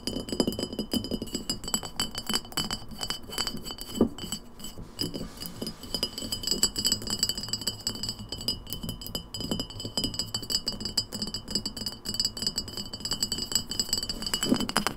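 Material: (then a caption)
Glass. An empty glass lemonade bottle stands upright on a wooden table while long nails tap rapidly on its glass sides and label. The taps make a dense run of quick, bright clinks and clicks with very short ring, and steady high tones sustain over a low thudding body for the full fifteen seconds.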